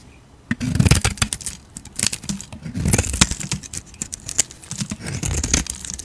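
A utility knife blade shaves thin flakes from a solid rectangular stamped Hacisakir soap bar, gold-painted on the surface and white inside, held in the hand. Repeated short bursts of dry, crisp scraping and crackling rise bright above a soft low body, with quiet pauses between strokes and almost no ring.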